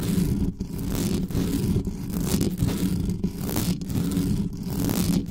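Long nails scratch fast and hard across the bare metal mesh grille of a black studio microphone. The result is a dense, continuous scraping rumble that is mostly low and boomy, with a steady mid-low hum near 200 Hz. Only brief dips in loudness break up the sound.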